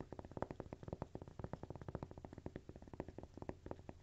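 A single thin, solid, toast-shaped textured cork coaster is held in the hands while fingernails scratch and tap its surface. About thirty quick, dry, quiet taps follow one another in a steady rapid patter, each dying away at once, with a soft dull thump low in the sound.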